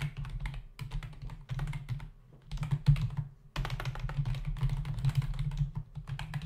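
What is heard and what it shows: Fingertips of both hands type rapidly on a full-size black plastic membrane keyboard with hollow keys, resting on a dark desk. The result is a dense, continuous patter of short, hollow plastic taps with a low, thuddy body. The typing comes in bursts, with brief pauses near the one- and two-and-a-half-second marks.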